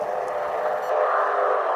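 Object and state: Nothing is struck.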